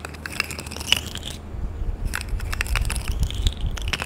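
A rainbow plastic pop tube toy, hollow and corrugated, is pulled and compressed by hand. It gives bursts of bright crackling clicks over a low rumbling background, with a brief quieter pause in the middle.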